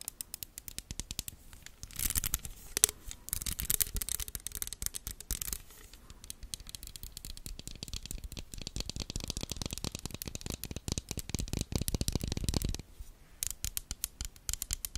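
A small black plastic claw-style comb hair clip with a hollow, toothed shape is held in front of a microphone and scratched and tapped with long red acrylic nails. The result is a dense stream of quick, bright plastic clicks and rasping scratches, each dying away almost instantly. There are busier stretches around 2–5 seconds and from about 7 to 13 seconds, with brief lulls between them.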